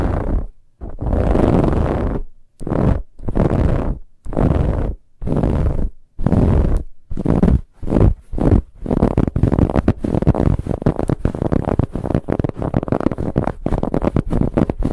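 Long nails of both hands scratch fast across a large, soft, stuffed dark brown pillow with a ribbed, textured fabric cover. The scratching comes as deep, rumbling bursts of scraping, first in separate strokes and then in a rapid, nearly continuous run of short strokes.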